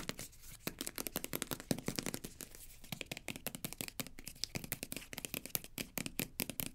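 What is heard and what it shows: Long nails rapidly tap and scratch the front and back of a green plastic cosmetic squeeze tube held in the hands. Dense, fast, dry clicks mix with bright, scratchy rasps. Each hit is short and dies almost at once, with no ring.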